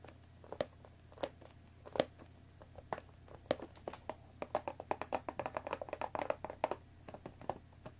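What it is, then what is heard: Cardboard box tapped with fingernails. Long painted fingernails tap on the top and front of a cardboard Earl Grey tea box, making light, dry clicks with a soft hollow tone near 570 Hz. The taps start sparse, speed up into a quick flurry in the middle, then slow again, all at a quiet level over a faint low hum.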